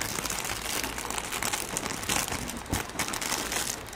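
A thin, shiny red plastic cellophane wrapper, small and hand-sized, is crumpled and crinkled between the fingertips of both hands right in front of the microphone. It makes a steady, dense, bright crackling with quick overlapping crinkles and a few louder crunchy bursts.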